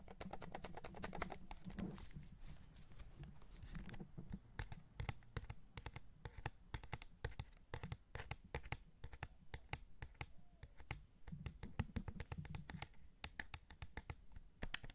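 Fingertips tap quickly and steadily on the face buttons and hollow shell of a white PS5 DualSense controller, a hand-sized white plastic gamepad held in the other hand. The result is a dense stream of short, dry plastic clicks and taps with a low, thuddy body and very little ring. Soft rubbing handling noise swells in the first few seconds and again near the end.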